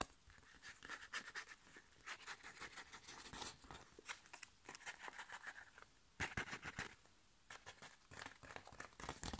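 Long nails tap and scratch the back of a flat, sealed, foil-laminated plastic sachet holding a foil sheet face mask, then squeeze it near the top edge. Quick, bright crinkling taps and dry scratches come in uneven bursts, with brief quiet gaps between them. Each sound stops almost at once, with no ringing.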